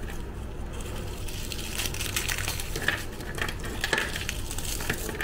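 A pile of small, dry, crunchy Tiger Krunch chocolate-chip cookies on a white surface is broken and crushed into crumbs by fingers and thumbs. A steady, dense crackle runs throughout, with sharp, bright snaps standing out now and then over a low rumble. The cookies crumble quickly and crisply.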